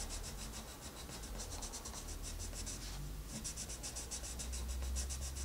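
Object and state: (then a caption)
Colored pencil strokes on a paper page. A wooden colored pencil is rubbed quickly over a paper coloring book page in dense coloring strokes. Rapid back-and-forth scratches come in a steady rhythm of bright, hissy bursts over a low rumble, with a brief lull near the middle before the strokes resume.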